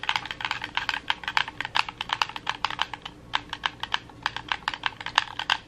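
A red hollow plastic gamepad with a D-pad and buttons is held close while thumbs tap and press its buttons quickly. The result is a rapid, uneven stream of dry, bright plastic clicks with very short decay, over a faint low background.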